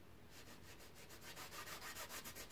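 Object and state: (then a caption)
Stretched canvas brushed. A paintbrush is rubbed in steady strokes across a large painted canvas on an easel, its taut fabric stretched over a hollow frame. The strokes make a soft, bright, rhythmic scratching hiss that grows gradually louder toward the end, over a faint low rumble.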